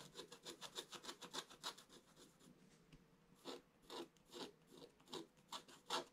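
A wooden stylus scratches along the lower part of the picture on a black-coated scratch-art page lying in a flat book. Short, dry, bright scraping strokes come in quick succession, thin out into a softer lull in the middle, then return as louder, more separated strokes.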